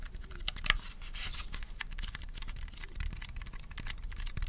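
A small, hollow purple plastic mini handheld fan, held in both hands close to the mic, is tapped rapidly with fingernails. It makes a steady patter of dry, bright clicks that stop almost at once, over a low rumble.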